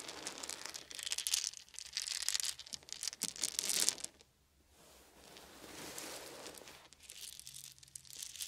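Fingertips scoop up small round wooden beads from a pile on a fuzzy blanket, pouring them from cupped hands and rubbing them together. Bright, dense clattering and crunchy rattling rise and fall, drop to near silence for a moment, then return as a softer rustling before the sharper clicking picks up again.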